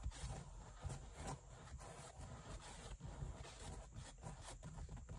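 Long white acrylic nails rapidly scratch and tap along the side and top edge of a large, padded black leather (likely faux leather) car seat backrest. The result is a quiet, continuous rubbing scrape, mostly low and muffled, with brief brighter flicks from the nail taps.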